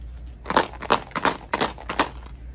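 A tube holding glass marbles is shaken back and forth, producing five distinct bursts of bright, clattering rattle as the marbles roll and knock inside. Each burst is short and dry, centered in the mid-high range, over a faint steady low hum.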